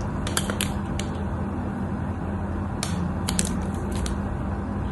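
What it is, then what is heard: Bar of white soap being shaved. A craft knife shaves along the edges of a solid white cream soap bar, and pieces flake off. Short, bright scraping clicks and crackles sound over a steady low rumble with a faint hum near 200 Hz.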